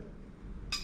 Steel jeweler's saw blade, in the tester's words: i can still hear that ping it sounds a little bit different because it's vibrating off of the uh the metal